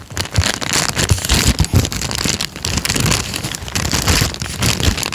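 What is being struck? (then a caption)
Thin paper sheet. A thin peach paper sheet is folded, then unfolded and flattened, and crinkled with the fingertips of both hands. Dense, continuous crackling and rustling fills the clip, bright and broadband, with soft low thumps under the crinkles and no pauses.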